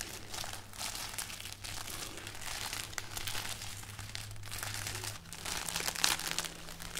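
A braid of dried red chili peppers on a string is moved and rubbed with fingers and nails close up, giving a continuous dry, bright crinkling and crackling with dense small crunches. A steady low hum runs underneath and shifts to a slightly higher tone about two-thirds of the way through.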